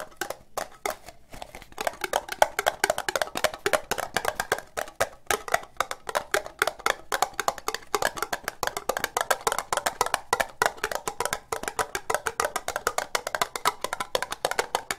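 An empty, hollow orange ribbed plastic cup is tapped fast with long nails, giving a dense, steady run of short, dry, hollow clicks centered in the mid range around 850 Hz. Each tap dies away almost at once, with a bright edge and almost no low end.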